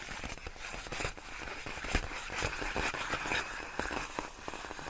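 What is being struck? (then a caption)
Inflated plastic air-column packaging. Long nails lightly tap and scratch a large sheet of clear, inflated plastic air-column cushion wrap, its hollow air-filled tubes resting on a rug. The result is a steady, uneven stream of dry, crackly ticks and rustling scrapes with a bright, hissy edge. Each tap dies away almost instantly, with no ring.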